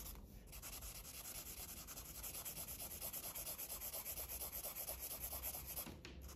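A red felt-tip marker colors a thin paper coloring book page lying flat, making continuous back-and-forth strokes that rub and scratch the paper surface. The quiet, bright, hissy scratching pulses in a steady rhythm, with a faint low hum underneath, before easing off near the end.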